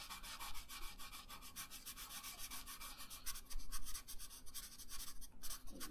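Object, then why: Colored pencil on a thin paper sheet over a wooden table. A yellow pencil colors a thin paper coloring page lying on a wooden table, with quick back-and-forth rubbing and scratching strokes. The sound is a steady, soft, papery scratch in rapid rhythm, bright and hissy on top with a low rumble beneath. It grows a little louder in the middle.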